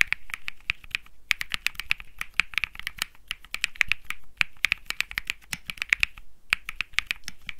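Fingertips type on a compact Think 6.5 mechanical keyboard with Bsun Lollipop switches, an aluminum case, a PC plate and plastic keycaps. About 44 sharp, dry clacks with no ring are centered near 2.2 kHz and carry bright high edges. They come in quick bursts separated by brief pauses.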